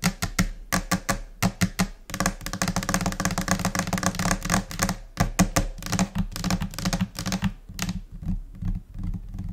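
Long nails tap on a flat, solid white laminate desk surface, alongside finger-pad taps. Crisp, short taps with a low, hollow thud come in spaced rhythmic groups, then break into a dense, chaotic flurry before thinning back to scattered, quieter taps.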